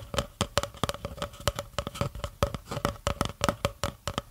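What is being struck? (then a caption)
Cardboard tube. Long nails and fingertips tap and scratch along the side of an empty, hollow brown cardboard tube about 30 cm long, held upright in one hand close to the microphone. About two dozen quick, dry taps follow one another unevenly over four seconds, each with a short hollow tone near 570 Hz that dies away almost at once, with faint scratching between them.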